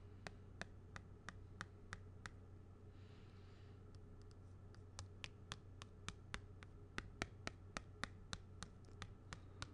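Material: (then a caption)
Plastic. A thin black stylus or pen tip scratches and traces across the face of a small flat plastic badge holder with a printed purple card, held upright. A steady series of sharp, bright, very short clicks and ticks plays over a constant low hum, with a faint soft scratch in between.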